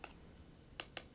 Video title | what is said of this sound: Resin Jewelry - Sherri Haab (2008) | you can tell that the resin is Cure by just tapping on it with a stick you hear that click